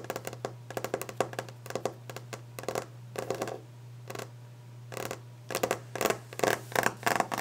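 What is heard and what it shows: Long orange nails tap and scratch quickly and aggressively on a solid, polished, varnished wooden desk top, close up. Short, dry, woody clicks come in rapid bursts with brief raspy scrapes between them, over a steady low hum.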